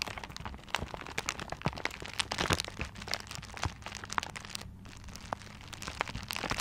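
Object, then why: Gift wrapped in paper. Nails and fingertips scratch the wrapping paper of a paper-wrapped gift held upright, producing dense, bright crinkling and crackling with quick, dry scrapes and sharp little snaps. The scratching runs continuously with uneven bursts over a faint steady low hum.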